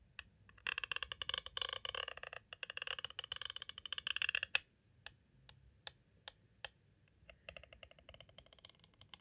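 A green twisted tool with a metal tip taps and traces along the side edge of a clear, hollow plastic cassette tape case. A dense burst of quick, bright, crisp plastic clicks and scratchy tapping runs for about four seconds, then gives way to sparse single taps and a final flurry of light clicks, each dying away almost instantly.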